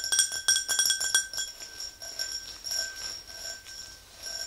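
Long nails tap the sides and rim of an empty, hollow clear glass tumbler. The result is a quick run of bright, high clinks with a steady ring near 1.6 kHz, followed by softer, quieter taps that fade in and out.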